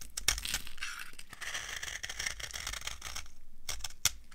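A solid, dry orange soap bar is shaved with a metal knife, breaking off crumbly flakes. The clip is full of dry, crunchy scraping and crackling with bright, gritty texture, plus a few sharper clicks near the start and end.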